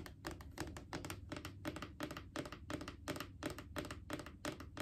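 Long painted fingernails tap quickly on a Clorox disinfecting wipes canister, a hollow plastic cylinder, producing a steady run of crisp, bright clicks. Each tap has a short, hollow low-mid tone that dies away almost instantly.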